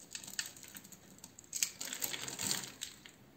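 A metal utility knife blade cuts and scrapes the scored surface of a palm-sized, solid blue oval bar of soap held in one hand, breaking off thin soap chips. The result is a rapid run of short, bright, crisp scratching and crackling ticks with almost no low end. The sounds grow denser and louder toward the middle.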